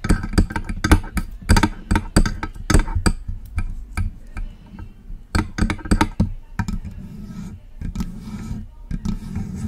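Long acrylic nails tap and scratch the body of a hollow, silver metal USB microphone. Quick, irregular clicky taps land with a deep, boomy thump, with softer scratching rustles between them.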